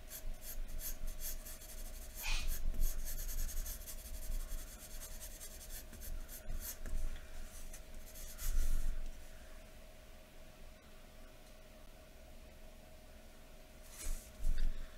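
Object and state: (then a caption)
Pencil shading on drawing paper. A graphite pencil held in the fingers scratches across thin white drawing paper lying flat on a wooden table while shading. Soft, dry scratching strokes rise and fall in irregular bursts, with louder, brighter strokes near the start, middle and end. A steady low hum and a faint constant tone run underneath.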